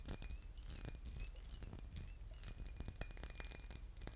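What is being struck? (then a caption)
Small textured glass bottle partly filled with liquid. A small embossed, boot-shaped glass bottle with a metal cap, partly filled with liquid, is held in the hands and tapped and scratched with fingernails. Quick, bright glassy clinks and ticks with short high rings sit over a continuous scratchy rasp and a soft low rumble.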